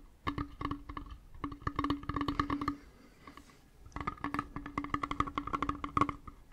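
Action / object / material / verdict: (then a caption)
tap / small leather-wrapped metal hip flask / metal / none. A small hollow metal hip flask with a brown leather wrap and a metal screw cap is held in both hands near the microphone and tapped and scratched with fingernails and fingertips. Quick, dry taps come in two dense bursts separated by a short pause, each ringing with a hollow, pitched resonance around 1.2 kHz over a lower hum near 270 Hz. Soft scratching and rustling fill the gaps between taps.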